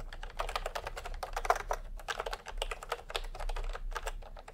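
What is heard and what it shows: A full-size plastic typewriter-style computer keyboard with round retro keycaps in peach and cream, resting on a white cloth, is typed on by the fingertips of both hands in fast taps. A steady stream of quick, short clacks sounds, centered in the midrange with a low rumble underneath.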